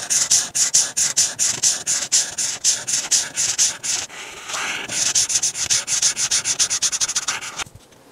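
A hand with painted nails rubs a marker tip back and forth across a thin, flat paper coloring page, filling a mannequin dress outline in purple, then dots it with a darker marker. Quick, bright, scratchy strokes repeat at roughly four per second, with a brief softer continuous rub near the middle. The strokes then resume faster and stop abruptly, leaving faint hiss.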